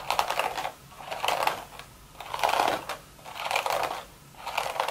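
Long, sharp red nail tips tap and scratch rapidly on the top of a hollow, empty woven straw hat crown. The sound is a dry, crackly patter centered in the mid range with a bright edge, arriving in five bursts separated by short quiet gaps.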